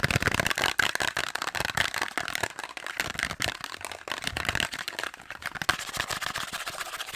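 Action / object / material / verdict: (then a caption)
tap / small cardboard box / cardboard / none. A small, hollow, purple printed cardboard box is held in the hand and rapidly tapped and scratched with long acrylic nails, possibly with contents rattling inside. Quick, dry clicks and scratchy rasps follow one another in a dense, fast stream, bright and papery with a tone centered around 1.5 kHz and very little low end.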